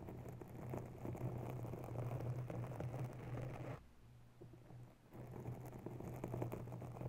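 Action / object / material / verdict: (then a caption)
scrape / foam microphone windscreen / foam / none. Long bare nails of both hands scratch and tap a grey foam cover on a white desktop microphone. Dense, crackly rustling rides over a steady low hum, drops to a quiet lull for just over a second, then resumes.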